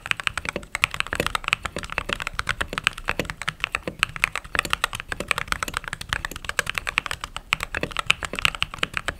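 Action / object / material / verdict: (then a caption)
tap / mechanical keyboard with plastic keycaps / plastic / none. Fingertips type steadily on a mechanical keyboard with white/cream plastic keycaps. It makes a fast, continuous stream of short, bright clacks centred around 2.5 kHz, with very little low end, and each keystroke dies away almost instantly.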